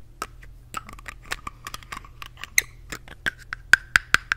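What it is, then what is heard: Plastic cosmetic tube cap clicking. Fingertips with long painted nails twist, pull off and push back on the plastic cap of a small yellow Glamglow plastic cosmetic tube with a metal collar. A quick series of short, dry clicks and light taps centred around 1.5 kHz, with bright edges, grows sharper and louder toward the end. Each click stops almost instantly.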